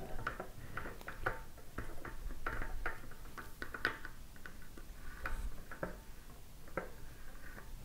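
Fingertips with short nails tap and scratch lightly across the surface of a medium-sized, hollow plastic illuminated Earth globe on a metal stand. Quiet, dry, irregular ticks with a faint hollow plastic tone around 1.5 kHz die away almost instantly. Soft scratching and a low background rumble fill the gaps between them.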